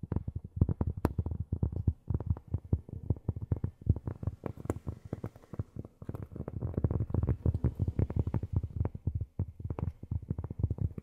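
Long fingernails tap steadily and rapidly on cork for about eleven seconds. Each tap is a short, dull, muffled knock with almost no ring, sitting low in pitch with very little brightness.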